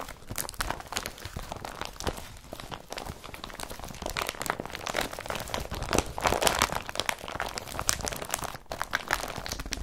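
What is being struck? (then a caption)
Empty woven polypropylene carrier bag. Fingertips rub and crumple an empty blue woven polypropylene IKEA BRATTBY carrier bag. A dense, continuous stream of bright crinkling and crunching crackles fills the clip, with the rustling swelling louder around the middle before easing off again.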